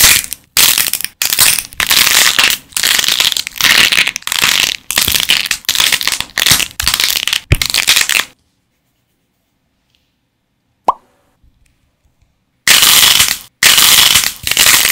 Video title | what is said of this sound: 두더지게임 만드는법 #점토부수기 #claycracking #stressrelief #satisfying #クレイクラッキング | esmalte de uñas para crear el sonido crujiente de la arcilla al romperse